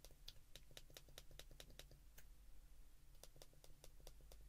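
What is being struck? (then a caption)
Plastic flip phone keypad. Thumbs repeatedly press the keypad buttons of a white plastic flip phone held in both hands. The result is quiet, sharp, bright clicks over a steady low hum, with a short pause partway through before the clicking resumes.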